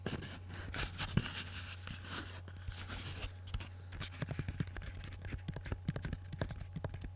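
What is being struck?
Wooden pistol grip.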